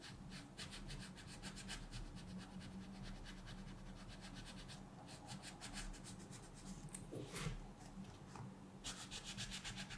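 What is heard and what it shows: A wooden colored pencil tip rubs and scratches continuously across a thin paper mandala page in a coloring book lying flat on a table, while the other hand rests on the book. The result is a quiet, steady, dry scratching with rapid, bright strokes over a low background hum, easing briefly near the middle and picking up again toward the end.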